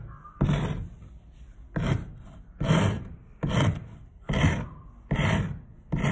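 A solid wooden spindle is filed with a steel rasp in quick strokes, leaving a pile of sawdust. Seven separate rasping strokes are heard at a steady pace, each a coarse, scraping burst with a deep body and a bright hiss, the last one cut off at the end.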